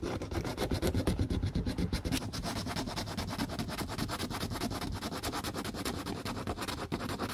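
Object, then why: Plastic shoe heel block. A gloved hand rubs and sands the side of the solid pale plastic heel of an Aldo tiger-print heeled boot, stripped of its old covering, with a small piece of sandpaper held in the fingertips while restoring the dog-bitten shoe. The result is a steady, dense, gritty scratching of quick back-and-forth strokes, weighted toward a low rumble with little brightness.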